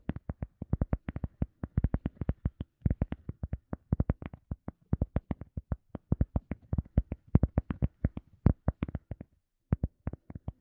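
Fingertips tap and scratch a round, solid, soft teal EVA foam sponge disc in a rapid, uneven run of short, dull taps. Each hit is low and muffled with almost no ring, and the tapping pauses briefly near the end before a few last taps.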